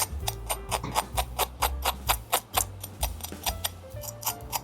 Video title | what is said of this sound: 【松露野菌手工Gnocchi】外脆內軟的餐廳配方！認識Gnocchi的5大種類！｜EN & CHI SUB｜BigBoyRecipe 藍帶的餐桌 | hear how crispy they are